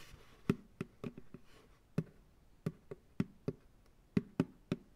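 An empty white plastic ice cream pail sits upside down on a lap while fingertips knock and tap on its hollow bottom. Fourteen short, dry, hollow thumps with a low body ring out at an uneven rhythm, each dying away almost at once.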